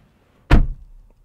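A 2022 Audi RS3 door is closed from the inside with a single deep, low-pitched thunk that dies away quickly. The door sounds very solid.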